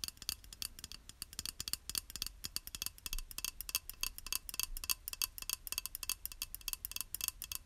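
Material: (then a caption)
Ceramic. A small, flat, square beige glazed ceramic tile, solid and held in one hand, is tapped and scratched with long acrylic nails. Dozens of quick, crisp clicks and brief scratches come in an irregular flurry, each bright and high with almost no ring. The result is a quiet, dense patter of dry tapping over a faint low rumble.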